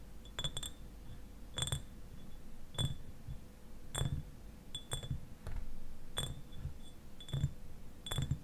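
Fingernails tap the sides of a clear, medium-sized glass eyewash bottle that stands upright and is partly filled with liquid. Irregular, sharp clinks each carry a brief bright ring over a soft low thud, separated by quiet pauses.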